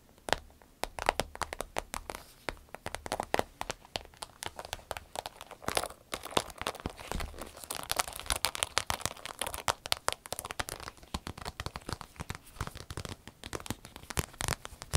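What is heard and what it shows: A medium green striped vinyl zip pouch, empty, is scratched with long nails, then picked up, crinkled and squeezed by hand. Dense, sharp crackles and crinkles with bright, dry snaps run throughout, growing busier and fuller in the second half.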